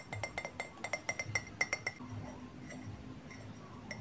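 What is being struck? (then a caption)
Ceramic mug. A medium white ceramic coffee mug with a green patterned "Soft Drinks" print and a handle, hollow and apparently empty, is held upright in both hands and tapped on the side with fingertips and short nails. About fourteen quick, light clinks ring bright around 2 kHz in the first two seconds, each dying almost instantly, then the sound settles into a quiet low hum with one faint tap at the end.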